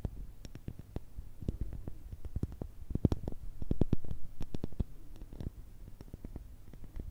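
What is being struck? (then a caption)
Pumice stone. A palm-sized, solid, porous light-grey pumice stone is tapped and scratched with long red nails while held close to the microphones. It gives a quick, uneven run of dry, sharp clicks and taps with a deep, muffled body and a faint gritty scrape between them. Each tap dies away almost at once.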